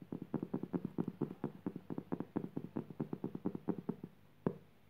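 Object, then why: Woven jute burlap fabric. Long purple fingernails scratch and tap across a flat, coarse woven jute burlap fabric lying on the floor. A quick, steady run of short, dry, muffled taps and rasps sits mostly in the low-mid range with almost no high end and no ring. After a brief pause, one final sharper tap ends the clip.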